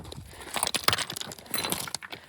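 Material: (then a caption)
Volcanic rock. Black volcanic stones at a crater site clink and rattle against each other with a sharp, glassy sound. The clicks are short and bright, with almost no ring, and they come in a quick, uneven series over about two seconds.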